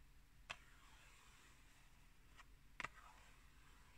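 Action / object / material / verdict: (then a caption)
tap / cardboard tea box / cardboard / none. A tall, hollow, rectangular Pukka tea box made of printed cardboard is held in the hand and tapped and scratched with long green nails. Two short, dry, clicky taps with a bright edge stand out, one near the start and one later, with faint soft scratching and a low steady hum between them. Each tap dies away almost instantly with no ring.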